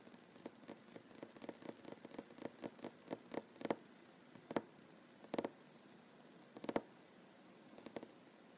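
Short fingernails and fingertips of both hands tap slowly across a solid wooden tabletop with seams. About twenty-one short, dry taps with a woody midrange knock sound over a faint hiss, quickening into a rolling run before spreading out into sparse, single strikes.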